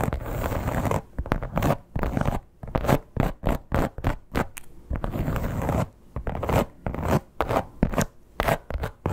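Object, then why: Croc-embossed leather clutch. Long nails scratch and tap across the scales of a flat red croc-embossed leather clutch. A steady rasping scratch in the first second gives way to many short, rapid bursts of scratching and tapping, with a broader scratchy stretch around the middle. The sound is dry and close, with most of its weight low and little high-end sizzle.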